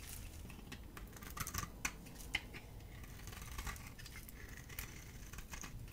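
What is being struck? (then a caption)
Bar of soap shaved with a metal blade. A dry, solid oval bar soap with a blue coating and cream core is held in the hand and shaved and scraped with a metal utility blade. Quiet, crisp scratching ticks and short bright scrapes sound over a soft low rumble, with a few sharper snaps standing out.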